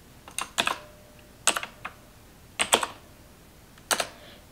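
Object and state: Plastic computer keyboard.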